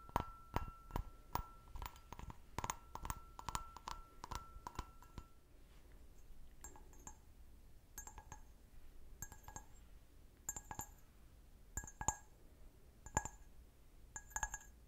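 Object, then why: Glass wine glass. A clear, medium-sized, hollow, empty stemmed wine glass is held sideways while its foot and bowl are tapped with fingernails. It makes a quick run of dense clinking taps with a steady ringing tone for about five seconds. Slower, spaced taps follow, each giving a short, bright glassy ping near 1 kHz.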